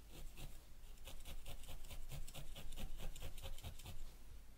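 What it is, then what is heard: Wool felt ball being needle-felted. A single felting needle held in the fingers repeatedly stabs a small yellow wool ball resting on a white foam felting pad. The result is a quiet, steady series of soft scratchy punches with a bright crisp edge over a low dull thud, coming roughly twice a second at a slightly uneven pace.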